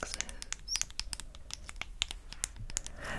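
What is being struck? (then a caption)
Small aluminium aerosol can with plastic cap. A small, hollow, gold-coloured aluminium cosmetic aerosol foam can with a clear plastic cap is held in the hand and tapped and scratched with long grey acrylic nails. The result is a quick, irregular run of sharp, bright clicks with almost no ring, ending in a soft scratchy rustle.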